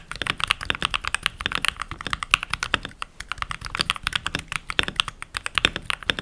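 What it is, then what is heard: Plastic mechanical keyboard. Fingertips with short nails and rings on the fingers type continuously on a full-size backlit mechanical keyboard with pink plastic keycaps. A rapid, steady stream of crisp, bright clacks sounds out, each press short and sharp with almost no low thud or ring.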